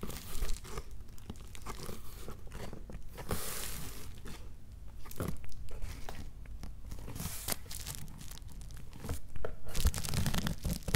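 Fingertips and nails scratch and tap red plastic bubble wrap wrapped around a shoebox that sits inside an opened cardboard box. Dense, irregular crinkling and crunchy taps run throughout, with a brief brighter hissy rustle early on and a few louder taps near the end.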